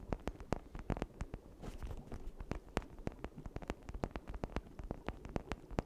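A red hollow plastic toy brain, held in both hands beside a misting cauldron, is scratched and tapped with long nails across its ridged surface. A quick run of short, sharp clicky taps rises over a soft, low, scratchy rustle. Each tap stops almost instantly with no ring.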